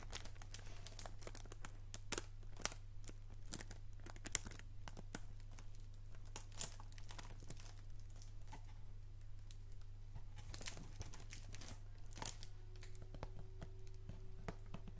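A hollow PG Tips cardboard tea box wrapped in plastic film is held to the left and rubbed and scratched with fingertips and nails. The wrapping gives off quiet, uneven crinkles and scratchy bright clicks over a steady low hum. A faint tone sounds near the end.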